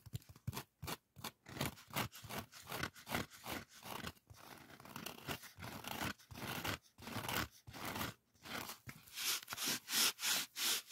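A solid white polyethylene packing foam sheet is scratched and rubbed with fingertips and nails. The result is a series of short, crunchy, bright friction strokes with a few longer hissy rubs between them.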